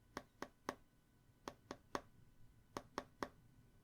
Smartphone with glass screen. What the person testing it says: phones feeling so hollow when you give them a forceful tap on the glass screen